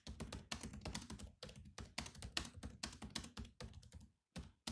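Both hands type with their fingertips on the black plastic keys of a grey laptop keyboard, making a rapid, clicky patter of sharp, bright taps over a low thump. The keystrokes run in quick bursts, break off briefly near the end, then resume.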